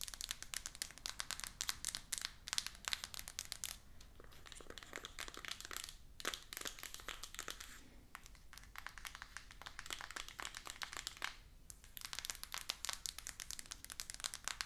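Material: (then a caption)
Cardboard, plastic film. Long acrylic nails rapidly tap and scratch a small, rigid, full cardboard iPhone 14 Pro 256 GB box lying flat in its plastic shrink-wrap. The result is dense, bright, crinkly clicks and scratches with almost no ring, easing into softer rustling around the middle before the quick tapping resumes.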